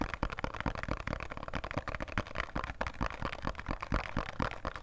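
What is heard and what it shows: A small, thin, printed cardboard box of Khadi soap is held in both hands and tapped quickly with fingertips and nails. The result is a rapid, irregular run of dry, short taps, with hollow low thumps mixed with crisp clicks that die away almost instantly.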